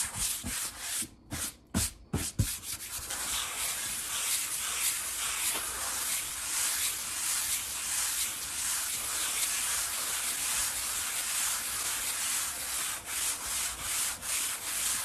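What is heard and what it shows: Flat palms rub and sweep across a large solid wood-grain tabletop. A few quick, sharp knocks open the clip, then give way to a steady, bright, hissing friction sound with soft swells as the hands glide over the surface.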